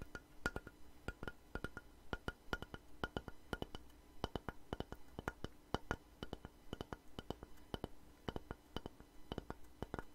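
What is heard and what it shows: Long nails and fingertips tap and scratch a long, light-coloured solid wooden plank held upright. The result is a quick, irregular run of short, dry knocks and clicks that die away almost instantly, with a low, hollow body and faint scratching between hits, over a quiet steady hum.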